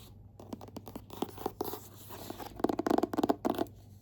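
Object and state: Hardcover book.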